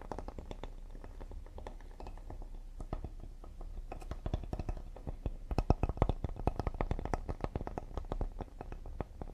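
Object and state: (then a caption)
Cedar wooden serving board. A solid cedar serving board with a handle, held in front of the body, is tapped quickly with fingertips and nails on its face and side edge. The taps are short, dry and woody, with a low, hollow body and almost no ring. They grow louder and denser in the second half of the clip.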